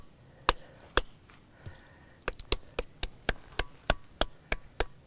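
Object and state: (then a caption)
Resonant musical stone slab. A flat-surfaced "music rock" slab at Gunung Padang, set apart from the surrounding columnar-joint stones, is tapped 14 times, giving sharp, hollow, wood-block-like knocks with a brief ring. A few spaced taps come first, then a quicker, steadier run of strikes fills the second half.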